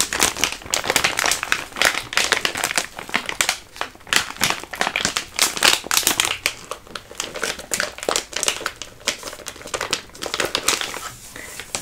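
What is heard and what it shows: A full, large dark green vacuum-sealed plastic Spanish Army combat ration pouch is held and squeezed in both hands with long painted nails. Dense, bright crinkling and crackling rises and falls in quick bursts with almost no low end, each crackle dying away fast.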